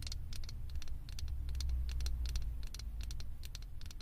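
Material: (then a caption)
Plastic. Long acrylic nails tap the top and sides of a small, hollow blue plastic Stitch head topper on a microphone. Rapid, bright clicky taps come in quick clusters over a steady low hum, with each tap stopping almost instantly.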